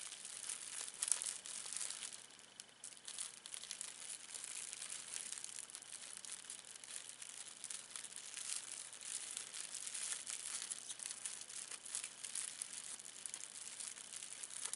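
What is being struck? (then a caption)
Thin plastic film wrapper. A thin clear plastic film wrapper is crinkled and squeezed between both hands for about 15 seconds. The result is a dense, continuous, quiet crackle that is almost entirely bright and high, with no low end. A slightly louder burst comes near the first second.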